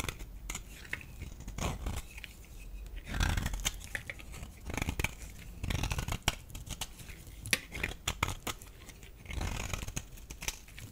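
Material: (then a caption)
Soap. A solid rectangular beige dry bar soap held in the palm is scraped with a metal utility blade, giving a dense run of short, bright scratching and crumbly shaving sounds. Quiet stretches alternate with louder bursts of scraping, with low thuds underneath.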